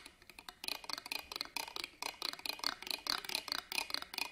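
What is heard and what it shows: A black pen scratches across the ribbed metal clasp frame of an embroidered fabric purse held upright on a table. The result is a rapid, uneven series of short, bright scraping clicks, soft for the first half second and then louder and denser. The clicks have a high, thin metallic edge and no low end.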